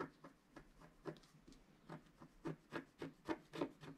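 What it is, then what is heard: Scratch-art card being scratched. A pointed wooden stylus, held in the fingertips, scratches a flat A4-size scratch-art sheet (a black coating over a colored foil/card base) lying on a cloth while the other hand holds the sheet. Thirteen short, quiet, dry scratching strokes come at an uneven pace, each a brief raspy rub with a little brightness and almost no ring.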